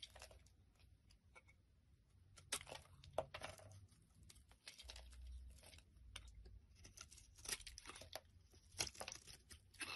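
A metal blade scrapes and shaves thick flakes off the face of a solid, rounded bar of tan soap held in the hand. Repeated crisp, dry scraping strokes crunch and crackle with bright, papery texture, some louder than others, over a faint low rumble. The quiet shaving continues steadily throughout.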